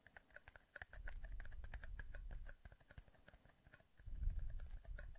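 Two identical small, empty, hollow clear plastic cups, one held in each hand beside a microphone, are squeezed and tapped quickly with fingertips. The result is a fast, irregular patter of short, dry plastic clicks with faint resonant tones, over soft low crinkling swells that rise around the middle and again near the end.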